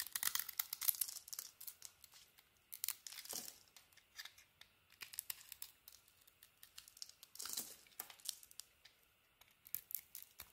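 A hand-held, hand-sized bar of yellow soap with a purple patterned coating has its coating scraped and carved off in curls with a utility knife blade. Crisp, dry, bright shaving strokes come in uneven bursts, with short pauses between scrapes and no low-end body.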